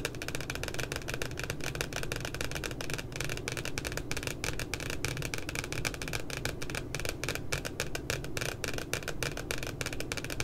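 Fingertips and long nails of both hands tap and scratch around a puppy's face printed on the glossy paper cover of a spiral notebook. Fast, dense, bright clicks and scratchy rustles run continuously at a steady level over a low background rumble.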